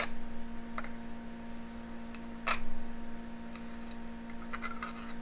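A thin needle pokes through and scratches taut aluminum foil stretched over a small glass jar, with candles surrounding it. Soft, irregular crinkling ticks and scratches sit over a steady low hum, with one louder, brighter scrape about halfway through.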